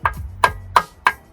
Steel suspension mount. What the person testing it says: It's like banging on a tin can.